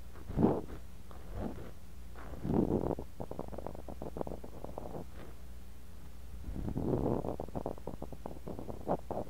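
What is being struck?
Kinetic sand in glass cup.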